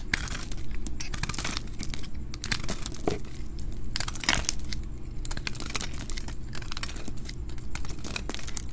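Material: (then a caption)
Soap. A solid, dry white soap bar held in a hand with long purple nails is shaved and cut with a metal utility knife blade, leaving white powder around it. Bursts of dry, crisp scraping and crinkly crunching run throughout, with a steady low hum underneath.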